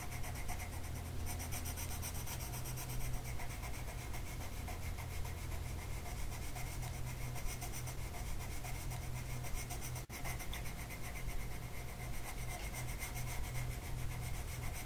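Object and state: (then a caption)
Colored pencil on paper. A green colored pencil tip is rubbed across a flat printed mandala paper sheet lying on a table and held down by one hand. It makes a steady, continuous scratchy rubbing over a strong low hum, with a brief dropout around the ten-second mark.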